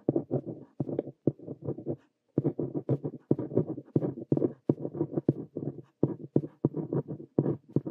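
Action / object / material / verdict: scrape / plastic ballpoint pen on a paper notebook page / paper / none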